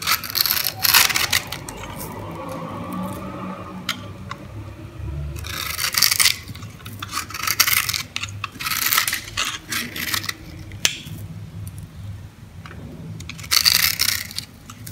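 A blade scrapes across a solid, dry beige bar of soap scored into a grid and held in the hand, crunching off small cubes and crumbs. Bright, crisp scraping and crackling come in repeated bursts with short quiet gaps between them.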